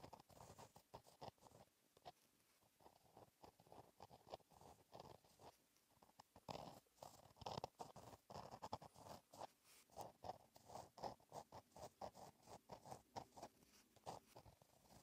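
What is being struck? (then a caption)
Paper notebook page written on with a gel pen. A fine metal-tipped gel pen writes cursive across a flat black lined paper notebook page resting solidly on a surface. It makes a continuous run of short, dry scratching strokes, mostly in the mid range with faint high hiss, rising and falling as the letters form. The strokes grow busier and slightly louder in the second half.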